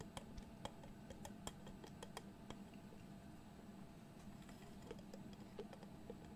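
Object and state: Glass jar with metal screw lid.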